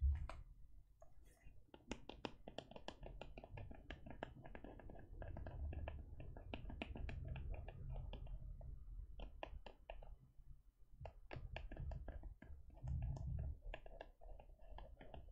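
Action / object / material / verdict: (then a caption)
tap / faux leather e-reader cover / faux leather / none. Long painted nails rapidly tap and scratch the front of a closed teal faux leather e-reader cover with stitched lines, held in one hand over a teal cloth. The result is a steady stream of quiet, crisp clicks and soft scratching over a low background rumble.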